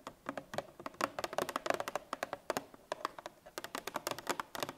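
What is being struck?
Cardboard milk carton.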